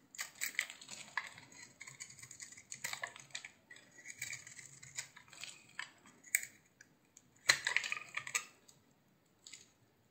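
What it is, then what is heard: Bar soap scraped with a blade. A utility knife blade scrapes and flakes a hand-sized solid green bar of soap with a blue glittery rim. The result is soft, dry, crackly scraping in uneven bursts, bright and hissy with almost no low end. Sharper crunches stand out near the middle and just past three-quarters through, and the sound fades to near silence at the end.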